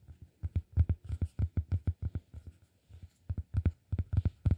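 Fingertips tap and scratch the top face of a solid round cork disk lying flat on one palm. About 19 short, dull, low thuds come in an uneven run of roughly three per second, each dying away almost at once, with a faint soft scratching between some of the taps.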